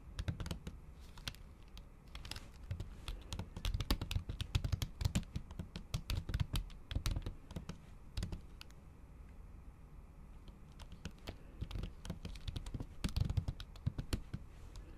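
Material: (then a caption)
Plastic. Fast, repeated taps from the tips of long acrylic nails on a MacBook keyboard whose solid keys sit under a thin pink patterned plastic/silicone cover. The result is a dense patter of short, muffled, low-heavy clicks with sharp bright ticks on top. It eases into a lighter stretch near the middle before picking back up.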